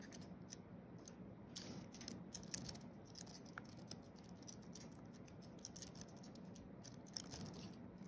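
Fingertips of both hands type quickly across a thin wireless keyboard with a flat aluminium base and white plastic keys. The result is a steady, quiet stream of short, bright clicks and soft taps over a low background hum, with a few sharper clicks standing out.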